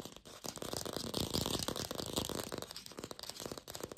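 A glossy red artificial apple, probably hollow plastic, is tapped rapidly with long pink fingernails. The result is a dense, continuous stream of quick, bright clicks that die away almost instantly, with a light hollow knock beneath them.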